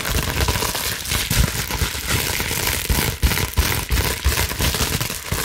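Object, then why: Plastic bubble wrap sheet. Long nails scratch quickly across a large, clear plastic bubble wrap sheet, making a dense, continuous crinkling and crackling. Bright, scratchy noise fills the clip, with soft low thumps and brief louder bursts scattered throughout.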